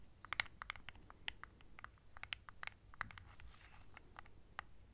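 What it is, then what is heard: Plastic remote control. Long nails tap and scratch a small hollow plastic LED remote control with colored buttons, held close to the mic. The result is an irregular run of quiet, sharp, bright clicks that stop instantly, with a soft scratchy hiss partway through.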